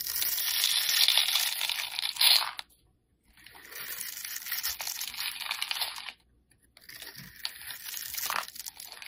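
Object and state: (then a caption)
Black soap bar being scraped. A solid, rectangular black soap bar held in the hand has its surface scored into cubes and scraped off with a metal blade, crumbling as it goes. Dense, bright crunching and scraping comes in three bursts separated by brief silences, with no low end.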